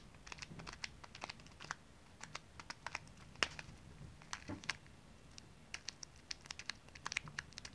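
Long painted nails tap and scratch a small printed plastic zip-lock pouch full of tiny dry water beads, held flat on the palm and in the hand, while fingers crinkle it. Quiet, bright, crisp clicks and crinkly rustles come in quick, irregular bursts, each dying away almost at once.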